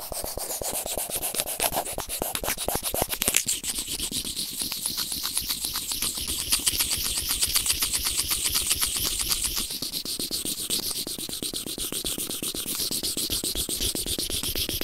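The tip of white plastic tweezers scratches a white plastic earphone inline remote microphone resting on felt. It produces a fast, steady stream of dry, bright scratching strokes that sound mostly high and hissy with little low end.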